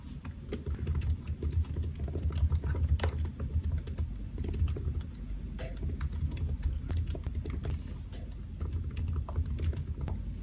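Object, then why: Laptop keyboard with plastic keys. Fingertips of both hands type rapidly on the black plastic keys of a solid silver aluminium laptop resting on a white desk. A dense, continuous run of short, dry taps and clicks dies away almost instantly over a low, heavy thud-like body.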